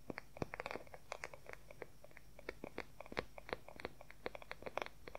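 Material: Wood.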